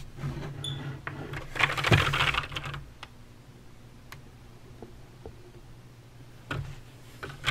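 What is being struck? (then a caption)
Plastic mechanical keyboard keys. Fingertips and long nails type on a full-size backlit Razer BlackWidow mechanical keyboard with clicky green switches and plastic keycaps on a metal/plastic frame. A dense flurry of sharp, bright clicks builds to a loud burst near the two-second mark. It then thins to a few scattered single taps over a steady low hum before another quick cluster of clicks at the end.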